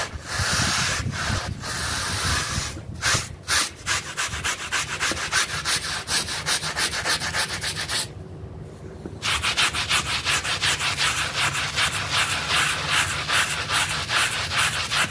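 A wet blue synthetic pile rug is scrubbed with a pink bristle brush along its edges and center. The result is a steady run of rapid, bright, hissing brush strokes, broken by a brief pause near the middle before the scrubbing resumes.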